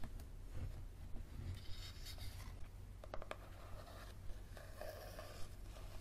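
A yellow paperback book with a card cover is held edge-on while fingernails scratch its back cover and spine. Soft, dry scratching and rubbing is broken by short, sharp ticks at an uneven pace, over a steady low hum.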